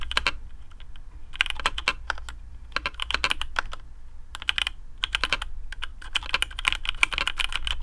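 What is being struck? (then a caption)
Mechanical keyboard with PBT plastic keycaps. Fingertips of both hands type on a black AARU custom mechanical keyboard with TTC Speed Silver switches, PBT plastic keycaps, a carbon fibre plate and a hollow case. Bursts of quick, bright, clacky keystrokes die away almost instantly, with brief pauses between runs. A steady low hum sits underneath throughout.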